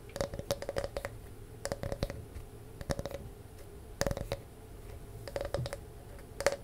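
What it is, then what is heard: Grooved wooden disc, scratched and tapped. A palm-sized, round, solid wooden disc with a ridged, grooved surface is held in both hands close to the mic and scratched and tapped with long nails. The result is quiet clusters of short, dry clicks and scratchy taps with brief gaps between them, each with a faint tonal edge and almost no ring.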